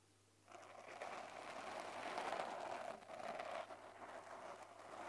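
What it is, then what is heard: Foam microphone windscreen being scratched. Fingertips with short lilac nails lightly scratch and rub a small, soft, porous black polyurethane foam windscreen on a handheld recorder. After a brief near-silent start with a faint low hum, a continuous close-up scratchy rustle and crackle sets in, centered in the mids with bright hiss above. It swells and dips slightly as the rubbing continues to the end.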